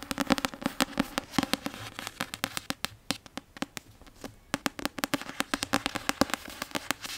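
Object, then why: Paperback book with card cover. A Prisoner of Azkaban paperback book with a solid card cover is tapped with long painted nails in a quick, uneven stream of sharp clicking taps. Each tap is short and dry with a bright edge and a faint hollow tone around 260 Hz, dying away almost instantly. The tapping thins out briefly in the middle before picking up again.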